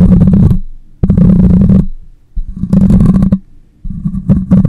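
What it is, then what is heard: Fingernails scratching a metal mesh microphone grille. A hand holds the side of a black condenser microphone with a hollow metal mesh grille and body and scratches it with short fingernails. This makes four bursts of low, rumbling scratching centered around 190 Hz, separated by quieter gaps.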